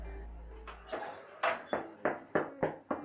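Someone taps on a freshly baked homemade sourdough loaf, making seven short, hollow knocks with a mid-pitched thump around 600 Hz that die away almost at once. The hollow sound shows the loaf is just right and baked through.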